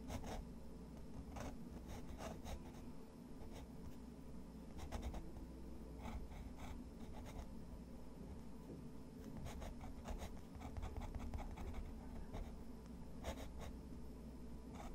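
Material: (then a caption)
Paper. A fountain pen nib draws lines across a sheet of thick, textured white watercolor paper resting on a wooden desk. Quiet, dry scratching strokes come in short bursts with bright, brief edges over a steady low hum, and each stroke fades almost at once.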